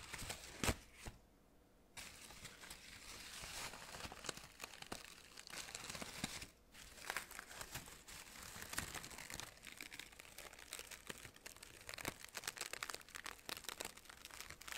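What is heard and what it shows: A hand grabs, crumples and rubs the synthetic fabric petals of an artificial orchid spray close up. The result is a dense, bright crinkling and rustling full of small sharp crackles, with brief quiet gaps near the start and midway.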